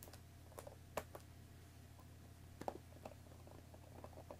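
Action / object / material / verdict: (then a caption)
tap / cardboard tea box in plastic wrap / cardboard / none. Long nails tap quickly on top of a hollow Earl Grey tea box made of cardboard in plastic wrap, resting on a wooden table. The result is quiet, short, dry clicks and crinkly taps at an irregular pace, with a few sharper strikes over a steady low hum.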